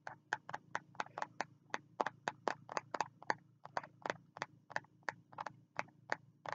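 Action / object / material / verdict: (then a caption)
tap / spiral notebook with cardboard cover / cardboard / none. A fingertip taps on the cover of a small green spiral notebook held at the chest. About 25 quick, dry taps land in an uneven rhythm, each a short bright click that dies away at once, over a faint, steady low hum.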